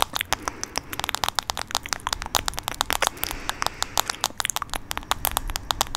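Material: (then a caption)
Plastic. Fingernails tap and scratch the back of a hand-sized smartphone in a light blue plastic case, held screen side toward the mic. A rapid, steady stream of sharp, dry clicks sounds with bright crackly edges and almost no ring, over a faint scratchy hiss.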